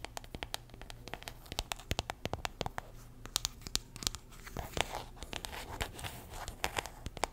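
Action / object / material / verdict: tap / small metal tin with paper label / metal / none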